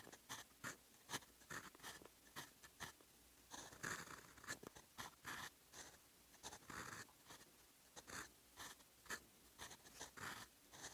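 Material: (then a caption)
Paper. The steel nib of a fountain pen writes in blue ink on a lined paper notebook page lying flat on a desk. It makes a quick series of short, dry scratching strokes with a bright, hissy edge and brief pauses between them. The scratching carries on steadily throughout.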